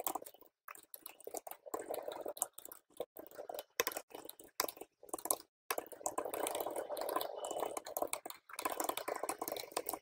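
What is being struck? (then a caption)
Plastic computer keyboard keys. Fingertips of both hands rapidly tap and press many keys on a full-size plastic computer keyboard with RGB-backlit, hollow keycaps. The result is dense bursts of quick, dry clicking and clattering, centered in the midrange with bright edges, broken by brief silent pauses.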